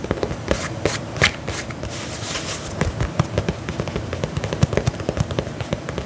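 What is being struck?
Faux leather lace-up boot.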